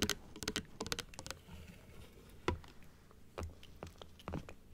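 A small hollow plastic dental model with white plastic teeth, pink gums and a blue frame is tapped rapidly on the teeth with long acrylic nails, first on its stand and then held upright in both hands. Quick, sharp, bright clicks come in a dense burst at the start, then thin out into sparser, isolated taps with short, dry decays over a faint low hum.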